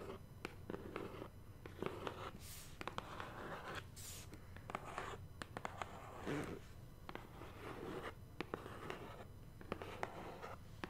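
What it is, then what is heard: Cardboard box tapped and scratched with fingernails. Long painted nails tap and scratch across the flat surface of a large, black-printed BoxyCharm cardboard subscription box, which is hollow and held upright. Short, sharp taps are scattered between soft, papery scratching strokes over a low background hum.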